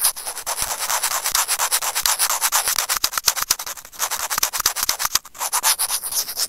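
Curved steel tweezer tips scrape and rub across the casing of a small, hollow, white plastic earphone microphone remote. The result is a dense run of quick, dry, gritty scratches and rasps that pulse irregularly. It sounds bright and hissy, with almost no low end.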